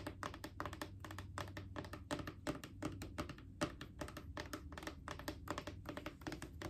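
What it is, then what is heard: Plastic wipes canister tapped with nails. Long acrylic nails tap rapidly near the top of a Clorox disinfecting wipes canister, a mid-sized hollow plastic cylinder. The stream of quick, slightly uneven clicks has a hollow, low-mid knock and a bright, crisp edge, with each tap dying away almost at once over a steady low hum.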